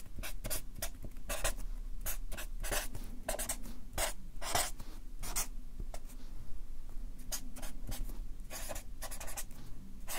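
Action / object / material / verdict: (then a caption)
scrape / felt-tip marker on paper sheets on a clipboard / paper / none. A Sharpie marker writes text on a stack of white paper on a clipboard, its felt tip scratching and rubbing across the sheets in a rapid series of short, bright strokes. A steady low hum runs underneath the quiet, continuous writing throughout.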